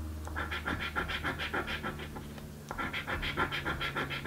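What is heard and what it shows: A coin scratches the remaining panels of a blue paper scratch lottery ticket, making quick, fairly regular rasping strokes with a bright, papery scrape. The strokes quiet briefly in the middle, then resume at the same brisk pace until the end.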